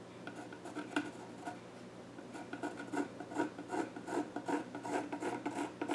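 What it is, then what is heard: Pencil scratching on a wooden stool top. A yellow graphite pencil scratches and shades across the flat top of a solid, dark-stained wooden child's stool. It makes dry, raspy rubbing strokes with a mid-pitched scratchy tone and brief bright edges. The strokes start sparse and grow quicker and more rhythmic but stay uneven, each fading almost at once.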